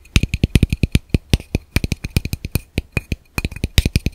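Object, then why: Plastic camera lens cap. A small, hollow, empty black plastic camera lens cap is held in one hand and tapped rhythmically with the fingertips and nails of the other hand. About 30 short, dry taps come in a quick, uneven rhythm, each with a dull low thump and a bright plastic click. Every tap dies away almost at once.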